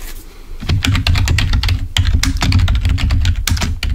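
Fingertips of both hands type rapidly on the keys of a full-size black plastic Microsoft keyboard resting on a table. After a quieter first half second, a dense, steady stream of short tapping clicks follows, each with a brief bright click over a deep, dull thump that dies away almost at once.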